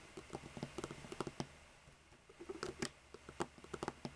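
Long nude-polished fingernails tap and scratch across the caps of seven identical hollow plastic Copic markers lined up in a row on a white table. About 15 quick, dry plastic clicks with a hollow tone near 355 Hz come in two bursts, separated by a quieter stretch of soft scratching. Each click dies away almost instantly.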